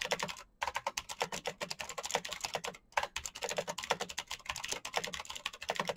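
Fingertips rapidly tap the clicky green switches of a black plastic mechanical keyboard, producing a dense stream of sharp, bright clacks. Typing runs in bursts with two brief pauses, near 0.5 seconds and 2.8 seconds. Each click is short and dry, with little ring.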